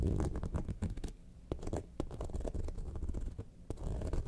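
Long nails scratch the top panel near the zipper of a yellow faux leather lemonade-carton bag lying on its side. The scratching is a dense, muffled, low rasp with quick, uneven strokes, broken by a few sharp, bright ticks.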